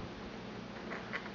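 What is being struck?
Nothing is struck.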